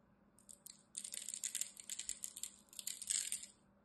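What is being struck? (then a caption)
Bar of soap. A small black utility knife blade scores and scrapes the surface of a solid, palm-sized, green rectangular bar of dry soap embossed "Absolut," held in one hand. Crumbly cubes flake off with quick, bright, crisp scratching and crackling bursts. The sound starts in short ticks and then builds into denser crumbling runs before stopping.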